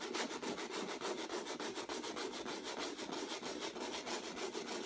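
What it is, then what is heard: Sandpaper on textured acrylic canvas. A folded piece of sandpaper held in the fingertips makes continuous sanding strokes over a stretched canvas with a textured acrylic surface. The result is a steady, rapid back-and-forth rasping at roughly three strokes per second, with a gritty mid-range scratch and a bright hiss on top.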